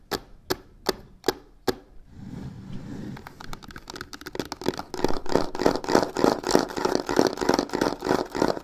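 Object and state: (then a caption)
Faux leather covered box, tapped and scratched. Long nails tap the corner of a hollow black croc-embossed faux leather box with white stitching five times in sharp, evenly spaced clicks. This gives way to a low, rough scratching across the textured surface. The sound then builds into fast, dense tapping and scratching on both sides that grows louder and brighter to the end.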